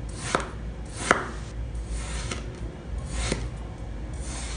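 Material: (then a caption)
Kinetic sand. A purple knife slices repeatedly through a large, solid, green heart-shaped block of packed kinetic sand resting on a wooden board. Three short, crisp cuts stand out, each a bright scraping slice that dies away quickly, over a steady low background rumble.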